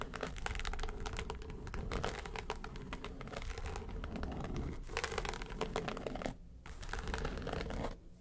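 Long pointed nails tap and scratch the lid of a flat, hollow yellow case with a textured faux-leather covering. The result is a dense stream of quick, dry, crinkling scratches and light taps with a hollow low body. There is a brief quiet dip around six and a half seconds, and the sound fades softer at the end.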